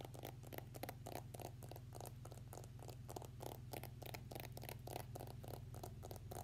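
Fingernails tap and scratch on a clear floral-printed plastic case holding an iPhone X, held sideways. Quick, quiet, irregular clicks and brief bright scratchy bursts follow each other closely over a steady low hum.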